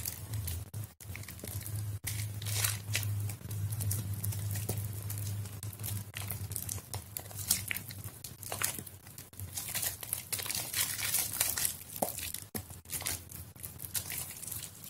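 A solid white bar of soap, soft and mushy from soaking, is squeezed and crumbled between bare hands with long yellow nails over a water-filled plastic basin. Dense, irregular wet squishing and crumbling fills the clip with bright crackly bursts over a steady low hum.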